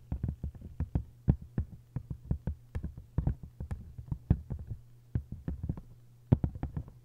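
A hardcover book with a paper jacket is scratched by long nails, then rubbed by flat fingers across the cover. Quick, dry taps and scrapes come in an uneven run over a steady low hum, and most of the sound sits in the low range.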